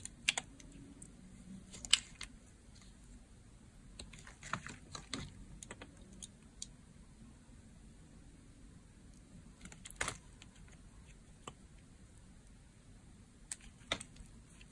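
A remaining slab of blue striped dry bar soap, held flat on an open palm, is cut slowly with a box-cutter blade. Sparse, irregular crunchy cuts come as short, dry, bright clicks and scrapes over a quiet low hum. The loudest snaps land near 2, 10 and 14 seconds.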